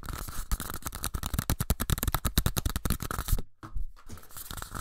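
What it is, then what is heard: Empty paper cups. Two identical small empty pink paper cups, one held in each hand, are quickly scratched and tapped with fingertips and nails. This gives a rapid, dense stream of dry crackling scratches and soft, low, hollow taps. There is a brief near-silent break about three and a half seconds in before the scratching resumes.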